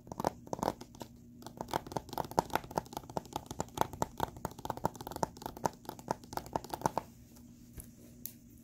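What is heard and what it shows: Fingertips and short nails tap and scratch the surface and edges of a small, hollow blue plastic Blu-ray case with a printed cover insert, held in both hands above a carpet. Dozens of quick, crisp plastic clicks with a hollow ring around 900 Hz patter irregularly over a faint steady low hum. After about seven seconds they give way to softer scratching.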